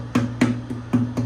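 Five knuckle-like taps on the thick wooden top of a newly finished acoustic guitar produce short, dry, woody knocks, each with a brief ringing tone near 246 Hz. The tap tone is high, not G but probably A or even B flat, because of the thicker top and heavier build, with quite a thick back and sides just over 2 to 2.1 millimeters.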